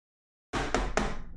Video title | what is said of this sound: The Ultimate getting started Raspberry PI Tutorial | this thing is hard and durable